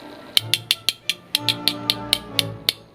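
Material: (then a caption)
Plastic. The plastic base of a Honda S2000 die-cast toy car is knocked 12 times, giving short, bright, clicky taps with almost no ring and very little low end. The base is confirmed to be plastic rather than metal.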